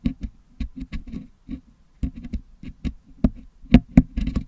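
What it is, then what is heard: Putty-filled metal microphone grille being picked. A wooden toothpick picks and scratches at red putty packed into the metal mesh grille of a Blue Yeti microphone, whose grille is filled with red and green putty, to clean it out. The result is an irregular series of close, dull, low taps and short scrapes, some with a bright clicky edge, each stopping almost instantly with no ring.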